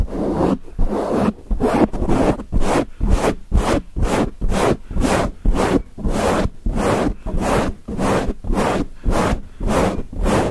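Fingertips and nails of both hands scratch and rub a grey foam windscreen on a microphone in fast, repeated strokes. About sixteen loud, rumbling bursts come at roughly two per second, each a deep, muffled scratchy swish with a short crackly texture above, separated by brief dips.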